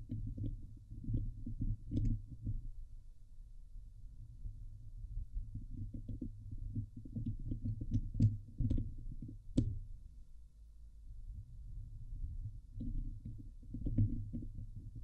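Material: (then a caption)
Metal mesh. Long nails of both hands scratch the hollow domed wire-mesh grille of a Blue Yeti microphone, producing dense, low, rumbling scratches that come in bursts with quieter stretches between. A few sharp, bright clicks stand out near the middle of the clip.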